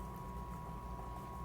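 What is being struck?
Nothing is struck.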